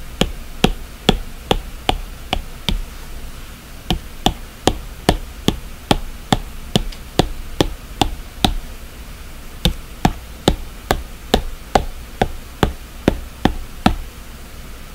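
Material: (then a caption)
Glass. The plastic tip of an Apple Pencil taps and knocks repeatedly on the glass screen of a large iPad with a black display lying flat. About 32 short, sharp clicks come at a steady but uneven pace, with a brief pause around the middle. Each click is dry with no ring and carries a light, bright edge over a low background hum.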